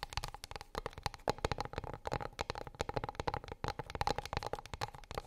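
Long pink acrylic nails rapidly tap and scratch a flat, solid, light wooden plate or board lying on a fluffy rug. The taps are quick, dry clicks with a faint woody tone around 840 Hz, and the scratches add soft rasping, with no ring after each hit.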